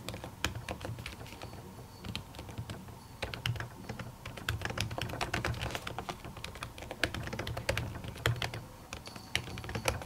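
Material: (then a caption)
Plastic, silicone. Long natural nails and fingertips type rapidly on a silver laptop keyboard fitted with a thin white printed silicone cover over its plastic keys. Dense, sharp clicking taps with bright ticks and soft low thuds continue steadily, each dying away almost instantly.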